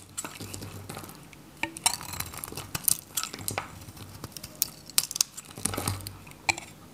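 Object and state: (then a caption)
Dry bar soap shaved with a knife. A hand-held, varnished, dry red/pink Godrej No.1 soap bar is shaved with a metal utility knife, scraping flakes off its solid face. Crisp, bright scraping strokes mix with sharp dry clicks and crackles that stop almost instantly, with little low-end weight.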